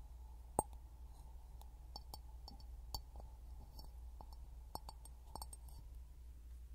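A clear glass bottle is knocked repeatedly with light taps, each giving a short, bright clink that rings around 840 Hz and dies away almost at once. A steady low hum runs underneath throughout.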